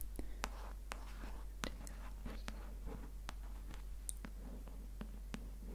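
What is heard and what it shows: Long nails tap and trace the glossy paper cover of a paperback copy of *Homo Deus*, held upright as a solid block of paper. The result is quiet, sharp, bright ticks mixed with soft, whispery scratching. A steady low hum runs underneath throughout.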